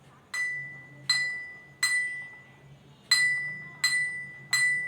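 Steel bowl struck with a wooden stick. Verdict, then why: Empty. An empty steel bowl, holding only air, is struck six times with a wooden stick for a jal tarang activity. Each strike gives a bright metallic ring with a clear tone near 2 kHz that decays over about half a second. The pitch would change once water is added.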